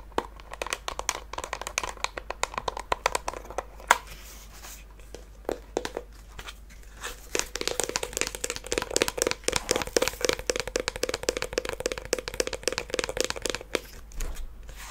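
A small hollow wooden mini treasure chest with faux-leather trim and a brass latch is held in the hands and tapped and scratched with fingernails. Quick, dry, clicky taps mix with bright, rustling scratches. A hollow wooden tone rings around 1 kHz early on and lower near 500 Hz later, and each tap dies away almost at once.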